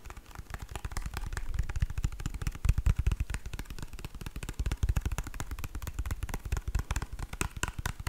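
A small, full-looking white plastic squeeze tube of hand cream with orange print is held and tapped and scratched with long nails. Fast, continuous dry taps and clicks with a deep thump layered under brief, bright scratchy edges, each stroke dying away almost instantly.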